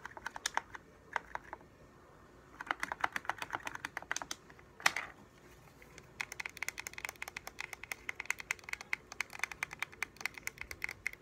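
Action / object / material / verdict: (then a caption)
tap / plastic game controller / plastic / none. Rapid bursts of sharp, bright plastic clicks come from the thumbs pressing the buttons of a hollow, translucent blue and white plastic game controller, with short pauses between bursts. A louder brief clatter as the gamepad is flipped over is followed by a steady stream of light, dry taps from the fingers on its translucent back shell.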